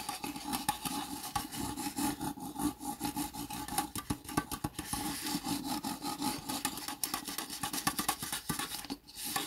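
Fingertips and nails scratch and rub along the ribbed sides of a small, thin, hollow, empty red plastic disposable cup lying on its side. The result is a steady run of dry, rasping scrapes and quick ticking clicks with a faint hollow tone near 1.1 kHz, each sound stopping almost at once with no ring.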